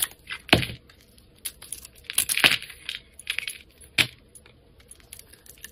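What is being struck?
Bar of soap.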